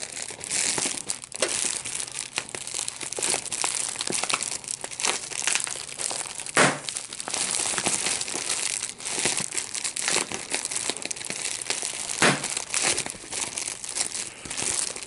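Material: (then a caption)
Plastic. Clear plastic bubble wrap with large, hollow air-filled bubbles is held in both hands and squeezed with the fingertips, while a second unused sheet lies at the side. The plastic crinkles steadily throughout, broken by many sharp, bright pops, with two louder bursts standing out midway and near the end.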